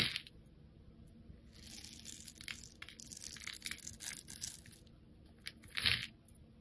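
A metal blade scrapes and cuts thin layers off the flat face of a solid blue soap bar with a dark outer layer, held in the hand. Bright, crisp crackling and shaving sounds come in dense bursts through the middle of the clip, with little low end. A louder, fuller scrape stands out near the end before it quiets.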